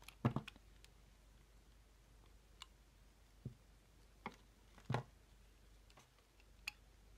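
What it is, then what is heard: Charcoal soap bar being shaved. A metal utility-knife blade shaves and scrapes curls from the edge of a hand-sized, solid rectangular bar of black charcoal soap held in the hand over a wooden table. Sparse, short, dry clicks and scratchy scrapes sound against a quiet background, clustered at the start and spread out after, each dying away almost instantly. The clicks carry a low thud with brief bright ticks on top.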